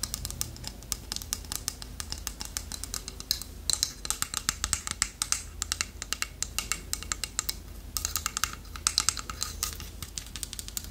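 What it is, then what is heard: Carved wooden figurine tapped with nails. Long nails tap rapidly on the beak and body of a small, solid, polished dark wood toucan carving held in the hand. The result is a dense, quick run of crisp, bright clicks with almost no ring, over a faint low hum.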